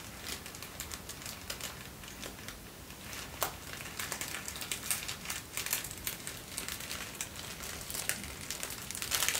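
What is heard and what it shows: Folded thin white tissue paper is held close and crinkled and rubbed with the fingertips. Soft, dense crinkling and rustling is mostly bright and high, with quick papery crackles scattered throughout. It grows slightly louder toward the end.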